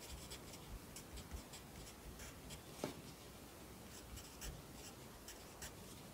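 A yellow wooden pencil held in the fingers writes across the page of an open lined paper notebook lying flat on a desk. The graphite scratches softly and steadily on the paper, with brief brighter strokes standing out from a quiet, low background hiss.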